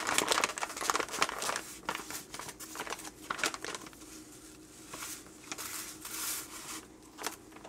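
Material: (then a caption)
Plastic foil. A 12 oz printed plastic, foil-lined coffee pouch labeled "The Pumpkin King," full of ground coffee, is held in the hands and squeezed and crinkled with the fingers and thumbs. It gives irregular, bright, crackly crinkles in quick bursts, loudest at the start, then softer rustling with occasional sharp snaps until the end.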